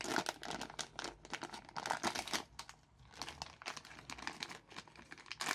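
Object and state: Plastic film sweet packet being torn and crinkled.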